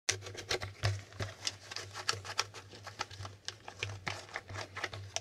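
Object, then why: Plastic Hangman board game with flip tiles. Fingertips flip and tap the red and blue plastic letter flip tiles on a handheld, flat, hollow plastic Hangman game board. The result is a quick, uneven series of short, bright plastic clicks and taps that die away almost instantly, over a faint steady low hum.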